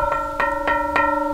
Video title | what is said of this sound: Oak Canyon Plant Distribution | if you get up close to them and bang on them you can hear that they're metal they're steel